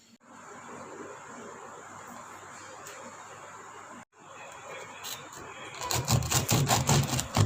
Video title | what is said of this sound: Fast No Knead Bread - How To Bake No Knead Bread Without Dutch Oven - The Food Devotee - | if it makes a hollow sound that means our bread is done